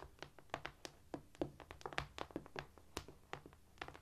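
Quiet fingertip-style tapping on a cork floor produces a quick, uneven series of short, dry taps. Each tap has a soft low thud with a brief bright click and no ring.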